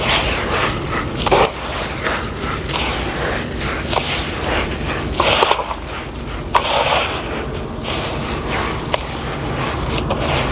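Hands knead and squeeze a heap of damp grey sand mixed with dust in a blue plastic basin, then lift handfuls and let the crumbly wet sand drop back onto the pile. A steady gritty, crunchy rustle runs throughout, broken by a few sharper, brighter crunches as clumps break and fall.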